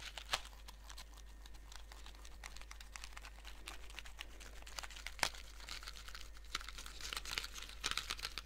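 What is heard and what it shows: A small blue cardboard Skittles candy box, held in both hands, is rapidly tapped with fingernails on its flat faces. The result is a dense stream of quick, dry, crisp clicks with a crinkly texture, broken by a few louder, sharper taps.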